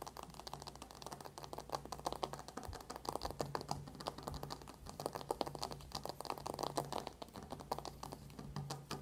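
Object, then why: Cardboard makeup palette. A closed dark cardboard eyeshadow palette lying flat on a white table is fast-tapped with the long nails of both hands. This produces a dense, rapid stream of crisp, dry clicks with very short decay and a steady low hum underneath.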